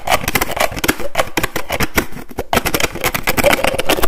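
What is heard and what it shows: Fingers and nails rapidly tap and flick the flip cap of a white plastic lotion bottle. The result is a fast, dense run of sharp plastic clicks and snaps over hollow low thuds, each dying away almost instantly. There is a brief lull near the middle before the tapping picks up again.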